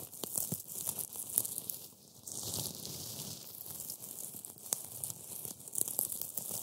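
Black-gloved fingertips press and crush a pile of dry, brittle, flaky green matcha wafer pieces on a white board. The result is a dense, bright, crackling crunch with sharp little snaps scattered throughout and a brief quieter lull near the two-second mark.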